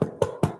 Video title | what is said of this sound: Easy No Knead Crusty Bread | see how nice and crunchy it is now